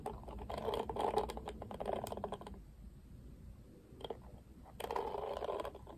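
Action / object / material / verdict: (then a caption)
scrape / plastic cushion hairbrush / plastic / none. Fingertips strum and scratch the dense black, pink-tipped bristles of a pink-rimmed oval plastic cushion hairbrush. Quiet, dry scratchy rustling comes in bursts of quick, uneven flicks, with a lull in the middle before a single brief scrape and a final burst of strumming.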